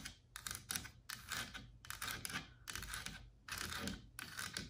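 Long black nails and fingertips tap and scratch the carved leaves and flat frame edge of a large, solid, white-painted carved wooden wall panel. Quick, irregular bursts of crisp clicking and scratchy rustling are heard, bright and dry with almost no ring, over a faint low hum.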